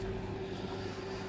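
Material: Nothing is struck.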